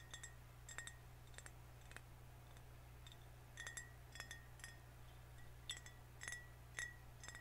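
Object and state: Full glass soda bottle.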